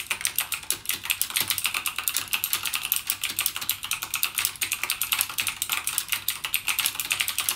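Fingertips type continuously on a backlit mechanical gaming keyboard with plastic keycaps and clicky Cherry MX Blue switches. Rapid, steady keystrokes produce sharp, bright clicks with almost no low end and very short decay. The typing keeps an even, dense rhythm throughout.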